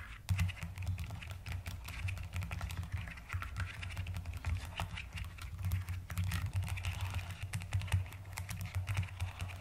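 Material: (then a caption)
Plastic. Fast typing with fingertips and long nails on a white-cased mechanical keyboard with pastel plastic keycaps, one hand held mostly over the keys. A dense, steady stream of quick plastic clacks and taps with short, bright clicks rides over a constant low hum. The keystrokes stay close together at an even, moderate level throughout.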